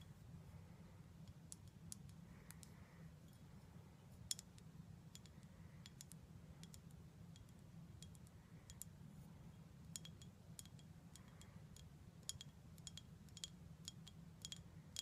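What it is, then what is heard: Full glass syrup bottle. A full glass syrup bottle is tapped with long black nails around the glass and the label, with the nails coming near the foil neck. Short, sharp, bright clicks come at an irregular pace over a steady low hum, each dying away almost at once.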